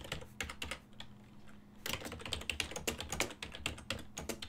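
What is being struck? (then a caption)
Plastic computer keyboard. A full-size black and silver plastic desktop keyboard with a hollow housing is typed on rapidly, its keys pressed continuously by fingertips with medium nails. Quick, bright clacking taps come in a steady stream, ease off briefly in the first half, then resume densely to the end.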